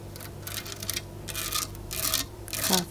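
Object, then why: Cast resin camel statue. Fingertips and long acrylic nails tap and scratch across the textured back and embossed saddle pattern of a large, solid, antique-finish cast resin camel statue. Bursts of bright, raspy scratching alternate with soft taps over a faint low hum, ending in a louder scrape.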